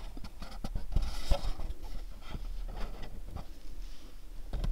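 Fingernails tap on the sides and bottom of a pink cube-shaped cardboard gift box. The result is a quick, irregular run of soft, dry taps and scratchy clicks, low in body with brief bright edges.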